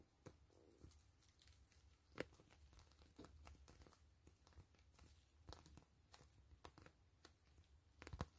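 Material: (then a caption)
PVC plastic. Long fingernails scratch and tap a soft, hollow, clear-gray grid-mesh PVC zipper pouch. The result is quiet, scattered crinkly ticks and scratches over a low rumble, with a few sharper taps standing out.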